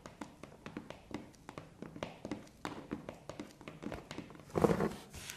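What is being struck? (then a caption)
Corrugated cardboard box. Long painted nails tap and scratch the front face of a hollow, medium corrugated cardboard parcel box with blue postal tape, resting on carpet. A quick, steady run of short, dry taps with a hollow, boxy tone fills the clip. Near the end, a louder, rougher scratching burst rises before the taps settle again.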